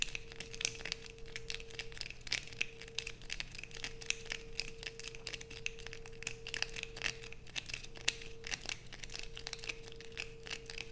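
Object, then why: Bar of soap scratched with fingernails. Long acrylic nails scrape and scratch across a solid blue bar of soap held in both hands, making a dense run of quick, crinkly, bright scratches. A steady mid-pitched hum and a low hum sit underneath throughout.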